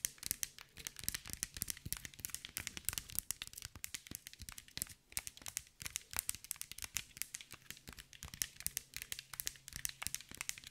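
A green mirrored glass mosaic ball, held in one hand, is tapped and scratched with long nails. The result is a dense, rapid stream of sharp, bright clicks and crinkly scratches with almost no ring, over a faint low hum.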